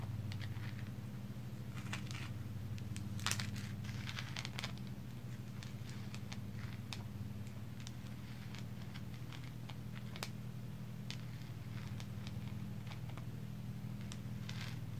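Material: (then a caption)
Coal. Long pink acrylic nails scratch and tap a solid black lump of coal held in one palm. Many quick, irregular, dry crackling scratches and clicks sound over a steady low hum. The whole clip stays quiet.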